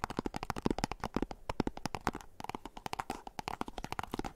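Fingernails scratch and tap quickly on a small, hollow, white and orange printed cardboard box, producing a rapid run of about thirty short, dry taps. Each hollow, low-mid knock dies away almost instantly, with faint scratching between the taps.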